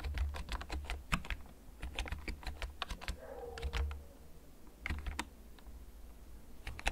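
A full-size black plastic mechanical keyboard with blue backlight, held upright in front of the recorder, is typed on with fingertips the whole time. Slow, irregular key clicks ring out sharp and brief over a low steady hum, with a short soft whine in the middle.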